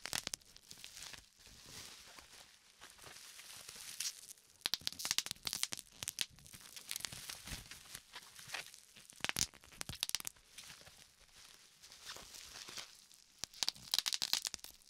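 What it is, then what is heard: Plastic bubble wrap. A sheet of clear plastic bubble wrap with small air-filled bubbles is held and squeezed between the fingertips of both hands. Steady bright crinkling runs throughout, broken by many sharp, quick pops as bubbles burst, several bunched together in louder bursts.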